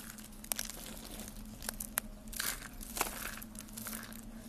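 Hollow, brittle rolled curls of dry yellow soap are squeezed and crushed between fingertips with lavender nails over a pile of yellow soap flakes. Sharp, bright snaps and crunches punctuate a continuous dry crinkling and crackling, with a faint steady low hum underneath.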